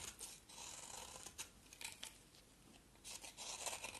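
A solid oval white bar of soap, held in the hand, is shaved with a utility knife blade. Quiet, crisp, bright scraping strokes come in bursts, with a few sharper crackles between longer rasping passes.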